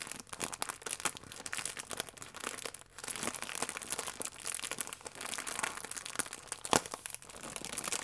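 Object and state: Plastic film croissant wrapper.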